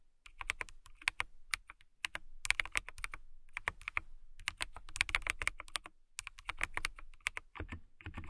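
Long-nailed fingertips type on a clear plastic mechanical keyboard with transparent keycaps. Quick bursts of sharp, bright clicking taps come with short pauses between them, each tap dying away almost instantly.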